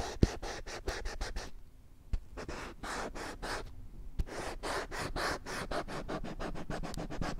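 Long nails scratch across the printed surface of a small, thin, flat, glossy children's whiteboard with a green plastic frame, with no marker in use. Quick, rasping strokes come in steady bursts with brief pauses, each a dry, hissy scrape reaching into the high range over a faint low rumble. A few sharp clicks cut through the scratching.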